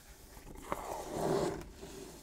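Fingertips scratch and rub the lid and edges of a medium-sized, hollow, printed cardboard Pokémon Elite Trainer Box resting on a wooden table. A brief sharp tap stands out early, then a louder, swelling rasp of rubbing with a hollow, boxy midrange tone before it fades to quiet scraping.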